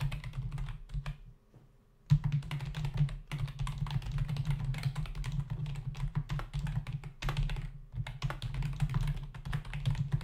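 Fingertips of both hands rapidly tap the hollow key caps of a black plastic membrane (non-mechanical) desktop keyboard, producing a steady stream of soft, low, dull clicks and thuds with almost no ring. The typing briefly stops for under a second near the start, then resumes in quick bursts with short pauses.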